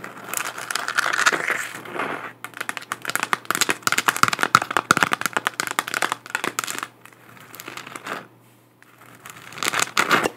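A hollow spherical 3D-printed plastic moon lamp, about 15 cm across, is held in both hands and tapped and scratched with long acrylic nails. Rapid, dry clicking taps and crinkly scratching run through the clip, each hit dying away almost instantly, with a hollow tone around 1.3 kHz and a bright edge. The activity eases into softer scratching near the eighth second, then returns in a final burst of taps.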